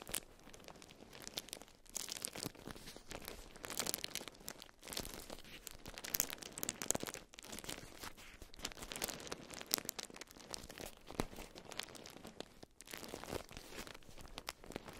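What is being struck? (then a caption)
Beeswax-coated cotton food wrap. A watermelon-print bundle of beeswax-coated cotton food wrap is squeezed and crinkled by hands with long nails. It makes a dense, bright, crackly crinkling with quick crunching snaps, broken by short pauses near 2, 5 and 13 seconds.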